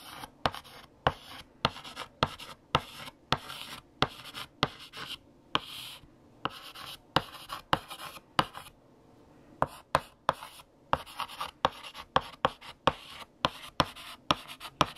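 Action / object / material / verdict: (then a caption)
scrape / chalk stick on a blackboard / chalk / none. A hand writes text on a large flat black chalkboard with a lavender chalk stick. Steady scratching strokes are punctuated by sharp, bright taps of the chalk against the board, with a brief pause partway through before the writing resumes.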